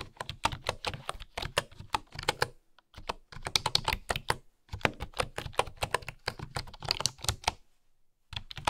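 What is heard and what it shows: Fingertips with long nails type on a bamboo keyboard with bamboo keycaps, giving quick bursts of short, dry, bright clacks over a soft low thock. The typing runs in rapid flurries separated by brief pauses, with each keystroke dying away almost instantly.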